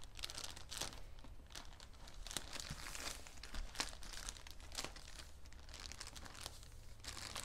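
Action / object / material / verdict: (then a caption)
scrape / bedding package in plastic wrap / plastic film / none. Fingertips and nails press, rub and crinkle the plastic wrap of a soft bedding set sealed in a patterned plastic package resting on a black table. Repeated bright, crackling crinkles come in short bursts over a steady low hum.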